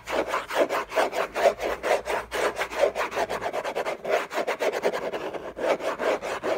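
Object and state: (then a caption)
Cardboard box lid scratched. Short fingernails scratch fast and hard across the textured surface of a large, flat, hollow orange Hermès cardboard gift box lid. A rapid, uneven run of dry, raspy strokes, roughly two per second, has a hollow midrange body and a bright scratchy hiss. Each stroke stops quickly with almost no ring.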